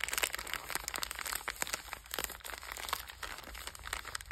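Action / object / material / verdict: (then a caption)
scrape / biscuit pack in a metallized plastic wrapper / metallized plastic / none. A sealed purple Bisbox biscuit pack, about hand length, with a metallized plastic wrapper and full of sandwich cookies, is held in both hands and squeezed and crinkled by fingertips with long red nails. The result is a continuous stream of bright, dense crinkling and crackling with many short, sharp snaps and very little low end.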